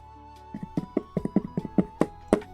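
Fingers tap on the textured side of a cardboard Pokémon card product box in a quick, uneven series of light, dull knocks. Each tap is short and muffled with almost no ring, while a faint steady tone hums underneath.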